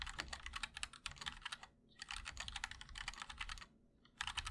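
Fingertips of both hands type rapidly and continuously on a compact MOD-L Linear mechanical keyboard with a black aluminum case and white and black plastic keycaps. Quick bursts of sharp, bright clacks with a soft low thump stop briefly twice before resuming. Each keystroke is short and dies away almost instantly.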